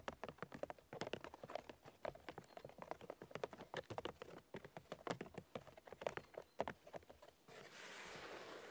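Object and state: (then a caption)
Birch log bark tapped with fingernails. Fingernails on both hands tap rapidly on the white bark of a large, solid birch log, producing dozens of quick, dry, light clicks with a faint hollow midrange tone. In the last second the tapping stops and gives way to a steady, soft broadband hiss.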